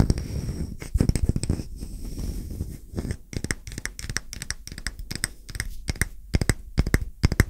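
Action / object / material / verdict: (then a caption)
tap / round wooden coaster / wood / none. Fingertips and short nails tap quickly on a solid, round wooden coaster held flat. The result is rapid, dull wooden knocks with crisp nail clicks, in uneven bursts that speed up and cluster toward the end over a soft, low rumbling bed.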